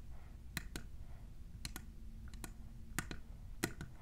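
Long nails fitted with plastic clips tap a tall, hollow, clear printed plastic tumbler. The sharp, dry clicks come in loose pairs at an irregular pace and die away almost instantly, over a steady low hum.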